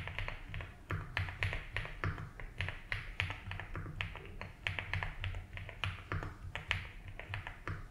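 Fingertips type slowly on a 75% mechanical keyboard with ABS keycaps in a light blue plastic case. A steady run of short, clacky keystrokes is heard, each with a bright click over a low thump that dies away almost at once. A constant low hum sits underneath.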